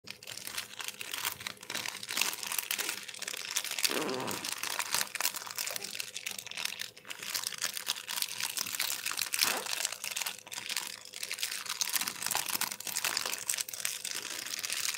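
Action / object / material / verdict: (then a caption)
scrape / thin plastic bag / plastic / none. A thin, translucent, empty plastic bag is held and crumpled by black-gloved hands in front of a microphone. It gives a steady, bright, high-pitched crinkle with no low end, swelling into louder crunches now and then over the fifteen seconds.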